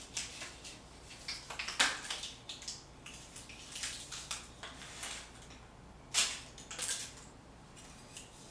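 A hand pushes a metal putty scraper with a blue-black handle across a large, flat painted concrete wall, lifting paint that is peeling in sheets off the solid wall. Short, bright, dry scraping strokes and crackles of loose paint follow one another, with a few sharper, louder scrapes standing out. Very little low end sits under the rasping.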